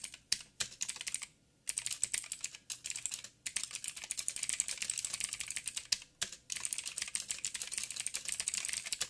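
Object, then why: Mechanical keyboard with plastic keycaps. Fingertips of both hands type steadily on a backlit 87-key mechanical keyboard with plastic keycaps and clicky blue switches. The result is a dense stream of sharp, bright, short clicks with almost no low end, broken by brief pauses.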